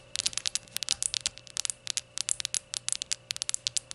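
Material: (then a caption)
Glazed ceramic. Long nails tap and scratch the glaze of a small, hollow, rainbow glazed ceramic shot glass as it is handled to show its white base and then stood upright. The result is a rapid, uneven run of sharp, bright clicks and scratchy ticks that die away almost instantly, with almost no low end and a faint steady hum underneath.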